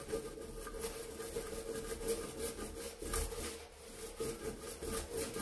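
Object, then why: Stainless steel sink basin scrubbed with a bristle brush. A hand in a yellow rubber glove scrubs inside a large, hollow stainless steel kitchen sink basin near the drain with a handheld bristle brush. Repeated scrubbing strokes make a continuous rasping rub with bright bristly hiss. A steady metallic ring sounds around 465 Hz beneath it.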